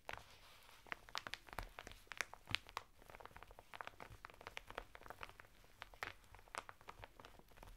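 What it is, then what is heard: Woven fibre bath mitt in plastic packet. Fingertips and nails scratch the textured surface of a flat bath mitt of coarse woven natural fibre, sealed in a thin printed plastic packet lying sideways on a table. Quiet, dense crinkling and scratching comes through the plastic, with sharp, bright ticks and rustles in an uneven stream.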